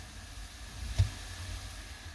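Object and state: Nothing is struck.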